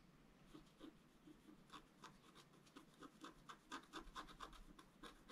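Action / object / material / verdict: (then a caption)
scrape / wax-coated scratch art paper scraped with a wooden stylus / waxed paper / none. A pointed wooden stylus rubs back and forth across a flat black wax-coated scratch art paper sheet on a table, filling in a gate area. The result is a series of short, dry scratching strokes with a bright, papery rasp, repeating at an uneven pace.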